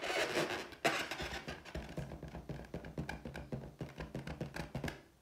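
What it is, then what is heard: Inflated latex balloon. Long teal nails scratch and tap an inflated, air-filled clear latex balloon with a pineapple print. A dense, squeaky scratching rub opens the clip, then a sharp tap leads into a quick run of short, hollow taps and dull thunks. The taps grow quieter toward the end.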